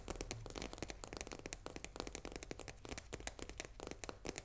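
Long nails tap quickly on the face and plastic window of a full 500 g cardboard box of risoni pasta held in the hand, the box hollow with loose contents inside. A rapid run of sharp, dry clicks with a bright, crackly edge sits over a faint low rumble, each tap dying away almost instantly.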